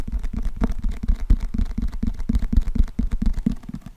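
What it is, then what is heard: Paperback book tapped and scratched. Fingertips and nails tap and scratch the cover and edges of a closed, thick, solid paperback book with a glossy cardboard cover, held in both hands. The result is a fast, uneven stream of soft, dull, low thumps with faint scratchy texture between them. Each tap stops almost at once, with no ring.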